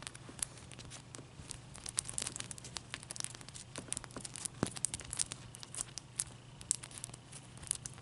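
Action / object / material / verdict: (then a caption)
tap / ice cube tapped and scratched with fingernails / ice / none. A clear, solid ice cube is held and then set on a towel while long, dark-painted nails scratch and tap it. Quiet, dense, bright clicks and crackly scratching repeat throughout over a low, steady hum, with each tap dying away instantly.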